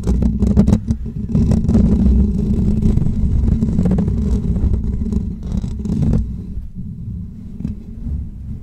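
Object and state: Metal mesh microphone grille.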